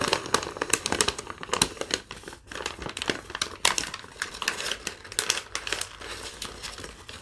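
Hands with long nails crumple and crinkle a thin yellow lined paper sheet, giving a steady stream of dense, bright crackles and rustles with sharp peaks that rise and fade. The sound is mostly high and crisp, with almost no low end.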